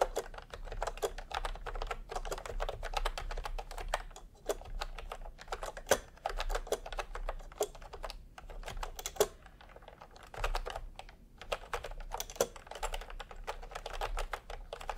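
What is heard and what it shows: Fast two-handed fingertip typing on a full-size retro "milk-tea" keyboard with a peach plastic case and round, typewriter-style plastic keycaps. A dense, steady clatter of short, dry plastic clicks centers in the mid-range, with a few brief lulls and a faint low hum underneath.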